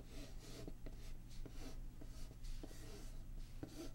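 Long polished nails tap and scratch across the printed lid of a closed, medium-sized, hollow Patchwork board game box made of printed cardboard, lying flat. Soft, short taps come between bright, brushy scratching strokes over a steady low hum.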